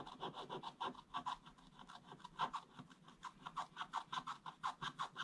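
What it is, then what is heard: Scratch-art paper board being scratched. A wooden stick scratches a flat, solid, black-coated scratch-art page in a quick run of short back-and-forth strokes. Each stroke is a dry, raspy scrape centered around 1 kHz with a bright, high hiss on top and almost no low end. The strokes come in an uneven rhythm, louder toward the end.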